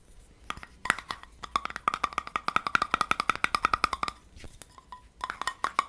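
Fingertips and nails tap and scratch the sides of a small, empty, clear glass jar with a gold metal screw lid, held in both hands. About thirty short, crisp taps each give a brief glassy ping near 1.2–1.4 kHz. A few scattered taps lead into a quick, steady run, then a quiet stretch of faint scratching before a final cluster of taps.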